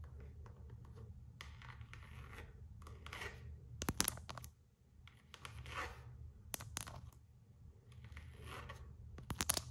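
Long acrylic nails scratch and rub the floral coated canvas strap of a single Gucci slide sandal, held up on its side with its rubber sole showing. Bursts of dry, rasping scratching come and go over a steady low hum, broken by sharp, bright nail clicks that cluster around the middle and end.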